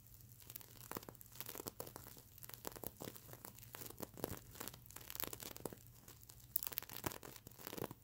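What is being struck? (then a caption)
Plastic sequin fabric pillow. Medium-length nails on both hands scratch across the plastic sequins of a sequin fabric mermaid unicorn pillow, close up. The result is a dense, dry crackle of quick, bright clicks and rustling scrapes that swell and fade with each stroke, with a faint low hum underneath.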